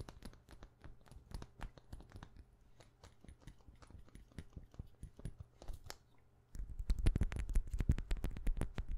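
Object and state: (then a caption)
Plastic perfume bottle cap tapped with fingernails. Long painted nails tap rapidly on a hollow white frosted plastic perfume cap held close to the mic. The result is a fast, uneven stream of short, dry plastic clicks with a low, hollow thump under them. The tapping is soft at first and becomes noticeably louder and denser for the last few seconds.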